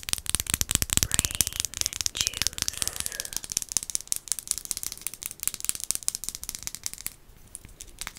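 A dark glass potion-style bottle with a paper label and stopper is held up and tapped and scratched with long acrylic nails. The result is a dense, rapid stream of bright, dry clicks and scratchy rattling with almost no ring, easing to softer, sparser taps near the end.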